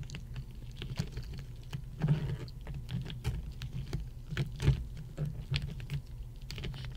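Long nails on both hands tap a row of solid ice cubes resting on a red mat. The result is quick, irregular, light clicking taps, each with a short low thud and a bright tick that dies away almost at once. A few taps land harder and louder.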